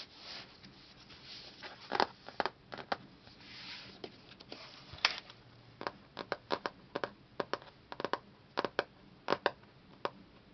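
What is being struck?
Hardcover book with laminated paper cover.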